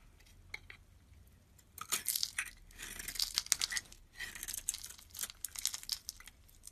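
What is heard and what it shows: A utility knife blade shaves and crumbles the surface of a yellow rectangular bar of solid soap with an embossed logo, held in the hand. Bright, dry scraping and crunchy crumbling come in uneven bursts with short quiet gaps. The sound is crisp and high, with almost no low end.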